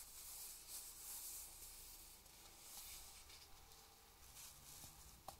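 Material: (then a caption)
Paper. Fingertips rub and scratch the paper pages of a thick paperback book open to an illustrated spread, while the other hand holds the page block. A quiet, steady, bright hissing scratch runs throughout, ending with a single sharper tick near the end.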